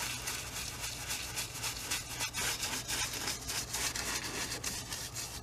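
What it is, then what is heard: Brush scrubbing on stretched cotton canvas. A wide bristle brush scrubs paint back and forth along the top edge of a medium stretched cotton painting canvas, hollow-backed on an easel. The result is a steady run of bright, scratchy rubbing strokes, about three to four per second, over a faint low hum.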